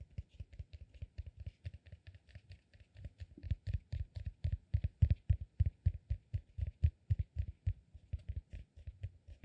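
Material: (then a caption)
Cork. A peanut-shaped solid cork massage ball is tapped and scratched with fingertips and short nails. A quick, uneven stream of soft, low, dull taps with faint bright scratchy edges follows, each dying away almost instantly. The tapping grows louder through the middle and eases off again toward the end.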